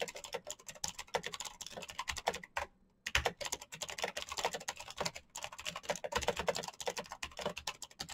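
Both hands type rapidly with their fingertips on a black plastic mechanical keyboard with clicky switches and hollow plastic keycaps. It makes a dense stream of bright, sharp clicks that stops briefly near the three-second mark, then resumes.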